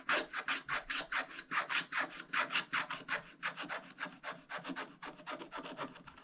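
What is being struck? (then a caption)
Black-coated scratch-art paper scratched with a wooden stylus. A wooden stylus scratches away large areas of black coating on a thin scratch-art paper page, revealing a foil shark underneath. About 26 quick, dry rasping strokes come in an uneven rhythm, each a bright, papery scrape centered near 1.3 kHz with almost no low end and no ring after it.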